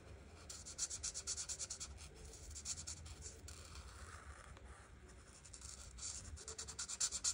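A felt-tip art marker held in the fingers is rubbed back and forth across a printed paper coloring book page lying flat on a table, coloring in the white flower petals. Quick, bright, dry scratching strokes come in bursts, ease into a softer, steadier rub midway, then pick up again into sharper strokes at the end.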